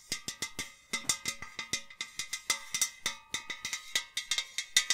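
A hollow white enamel metal jug vase, held by the neck, is tapped along its body with long nails in a quick, uneven run of 26 taps. Each tap gives a bright, metallic ring with a clear tone near 2 kHz that fades quickly.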